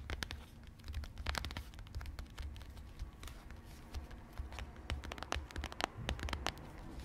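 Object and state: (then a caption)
Cardboard box of cornflour, full. A small, apparently full Maizena cardboard box of cornflour is held up close and tapped and scratched with long red-painted nails. Quick, sharp clicks and dry scratching taps crowd over a soft, low, steady rumble, each tap dying away instantly. The sound stays quiet and busy throughout, with a few brighter taps standing out.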